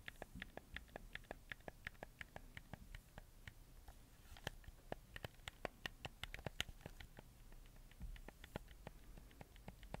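Fingertips press, click and tap the colored buttons and joysticks of a black handheld PS4 game controller with a hollow plastic shell, held in one hand close to the mic. A quiet, irregular stream of short, dry plastic clicks and taps with a bright edge and almost no ring sits over a low, soft rumble.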